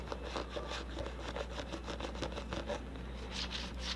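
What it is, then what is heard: Plastic cosmetic tub tapped and scratched with nails. A medium red plastic hair mask tub with a lid, hollow and likely filled with product, is held in one hand and tapped and scratched with long orange nails on its side and lid. Quick dry taps and scraping rubs blend into a steady, quiet texture of light clicks and bright scratches. A constant low hum sits underneath throughout.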